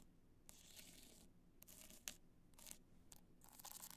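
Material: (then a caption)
Rhinestone. Long black nails scratch across the crystal surface of an upright black multicolor rhinestone hard-shell clutch. The result is a series of bright, gritty scraping bursts with a few sharper clicks, over a faint low hum.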